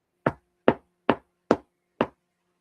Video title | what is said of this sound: Fedora Friday #28: The Alamo (2004) | you can hear the sound that it makes. It's quite robust